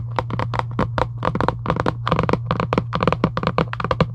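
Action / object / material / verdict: tap / cardboard box tapped with fingernails / cardboard / none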